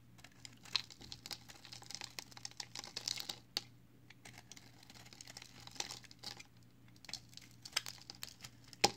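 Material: Soap.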